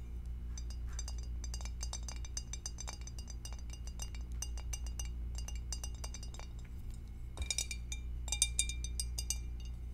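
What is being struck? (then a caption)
Glass food container. Long acrylic nails tap the bottom and rim of an empty, hollow, clear glass two-compartment rectangular food dish held in both hands. The result is a rapid, irregular stream of light, bright clinks centred near 3.7 kHz that die away almost at once, over a steady low hum. The taps grow denser and sharper from about 7.5 seconds on.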